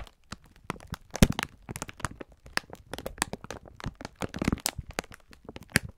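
A clear plastic-film pack of sponge scourers is held in both hands while the fingertips squeeze and rub it. The plastic gives a steady run of short, sharp crinkles and crackles. They span from low up to bright tones, with the loudest snaps near the start and again toward the end.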